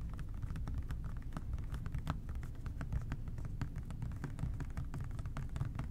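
An OxiClean plastic trigger spray bottle is tapped quickly with the fingertips of both hands. The result is a fast, steady patter of soft, dry clicks over a constant low rumble. Each tap dies away almost instantly.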